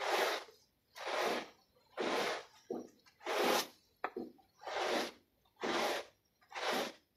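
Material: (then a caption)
Textile pile. A plastic bristle brush scrubs a small, wet, foot-shaped textile pile rug covered in white foam. Seven long, bright, hissing swishes come at a steady pace, with a few shorter scrapes between them and quiet pauses after each stroke.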